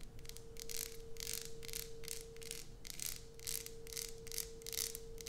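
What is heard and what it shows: Long nails tap and scratch across the surface and edges of a solid light-blue bar of soap held in the hand. The result is a run of quick, bright, crackly scratching bursts over a steady faint tone near 470 Hz.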